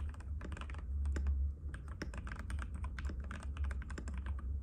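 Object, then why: Plastic mechanical keyboard. Fingertips of both hands type continuously on a compact cream-white mechanical keyboard with plastic keycaps and a hollow case, resting on a glass table. Rapid, bright clicky taps run over a steady low hum.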